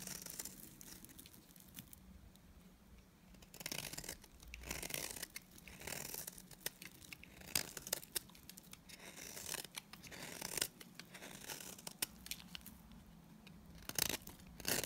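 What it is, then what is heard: Dry bar soap being shaved. A utility knife blade scrapes and shaves curls off the edge of a solid, oval, tan bar of dry Timotei soap held in the hand. Quiet, bright, dry scraping and crackly shaving strokes come in irregular bursts with pauses between them, with no ring after each stroke.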